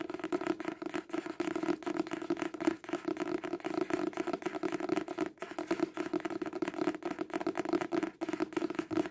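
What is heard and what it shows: A paperback book, turned sideways partway through, is tapped rapidly on its cover with the fingertips and nails. The result is a dense, continuous patter of short, dry clicks with almost no ring, a steady tone around 320 Hz, and brief pauses near three and five seconds.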